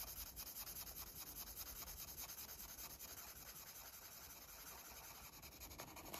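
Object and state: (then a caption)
Felt-tip marker on paper. A red felt-tip marker rubs and scratches back and forth across a large, thin coloring book page lying flat and held down by one hand, coloring in a parrot. The result is a quiet, steady stream of soft, bright, papery scratching strokes at a loosely regular, brisk pace.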